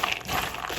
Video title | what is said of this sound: Easy, Healthy Snack Ideas! All Under 5 Ingredients! | you can hear how crispy they are just from me tossing them around in here